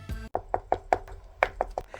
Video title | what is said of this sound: I Sculpted the Cactus Plant Flea Market Grimace as a Beast! // Polymer Clay Tutorial-Timelapse | if it sounds like your landlord is knocking the day that your rents due you are good to go